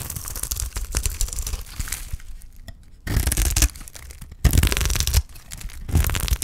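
A utility knife blade scrapes along a solid block of dry green soap held in the hand, shaving curls off it. The cuts make dry, crackly scraping and tearing sounds with a low rasp and bright grit. The strokes come in louder bursts partway through and near the end.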